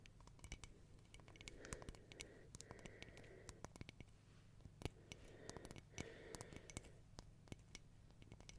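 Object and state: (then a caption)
Mosaic glass candle holder. Long painted nails tap and scratch the black-and-white mosaic glass tiles of a small, round, hollow tea-light holder with a white rim, held in both hands. Quick, sharp glassy clicks come in uneven clusters over soft scratchy rasping and a steady low hum. Each tap is crisp and dies away almost at once.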